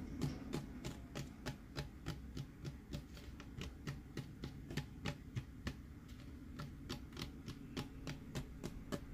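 A hand-held hollow plastic tumbler with a printed Mickey and friends design and a red lid is tapped and scratched on its printed side with fingernails. About 32 quick, dry taps land at a brisk, slightly uneven pace, each a short bright click with almost no ring, over a steady low hum.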